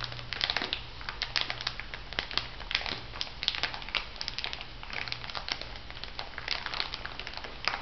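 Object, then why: Thin plastic bag filled with salt granules. A small clear plastic bag full of white bath salt granules is held upright and squeezed and scratched with fingertips and long nails. It makes a dense, bright run of crinkles and gritty crunches, with sharp little snaps over a faint steady low hum.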